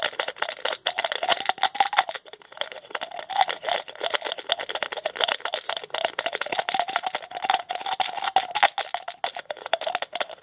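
A small white plastic pill bottle with a blue label has its white plastic cap twisted on and off with the fingertips, producing a dense, continuous run of dry ratcheting clicks. The clicks are short and crisp, centered in the midrange around 770 Hz with a bright upper edge and no low end. The rhythm keeps going throughout with only brief lulls.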